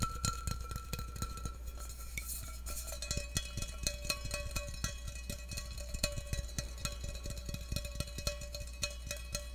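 Fingertips tap rapidly and repeatedly on an empty stainless steel tumbler, its open interior showing, held up by the mic. Each tap gives a short, bright metallic tick with a brief ringing tone near 580 Hz, over a steady low hum.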